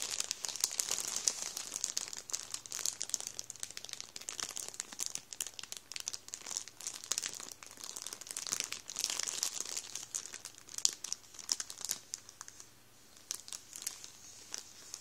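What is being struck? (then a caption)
Plastic bread bag with rolls inside. Fingertips rub and scrunch a full Warburtons plastic bread roll bag over the rolls inside. The result is a continuous stream of bright, crisp crinkles and crackles with almost no low end, briefly easing off around 12 to 13 seconds before picking up again.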